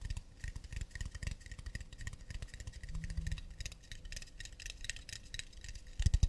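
Long nails tap quickly on the underside and rim of an empty, round, hollow acacia wooden plate held in both hands. The result is a dense run of soft, dull, low knocks with faint bright clicking on top, each tap dying away almost at once. A louder burst of taps comes at the very end.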